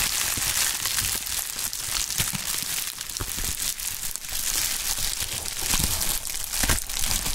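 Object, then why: Plastic bubble wrap sheet. Gloved hands crumple, stretch and crinkle a pink polyethylene bubble wrap sheet with air-filled bubbles. A steady, dense, bright crinkling and crackling runs throughout, with sharper crunches standing out now and then over a low rumble.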